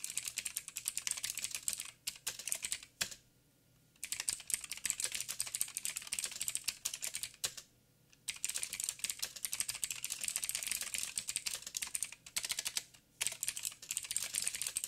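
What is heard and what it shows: Fingertips type rapidly with both hands on a backlit 87-key mechanical keyboard with plastic keycaps and clicky blue switches. The result is a dense stream of sharp, bright clicks that die away almost instantly. The typing breaks off in short pauses near 3 to 4 seconds, 7.5 to 8 seconds, and briefly around 13 seconds.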